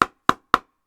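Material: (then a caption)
Foam core. Three quick taps on a Gen 4 foam core pickleball paddle give short, crisp clicks centered near 1.3 kHz that die out almost instantly. There is no hollow thump, and the paddle sounds stiff and crisp in a good way.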